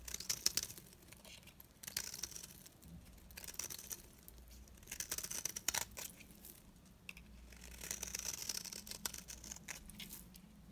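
A metal blade shaves the face of a solid, dry, round green retro soap bar held in hand, peeling it into layered flakes. The cuts give dry, bright, crinkly scraping rasps in several bursts of strokes, with quiet pauses between them.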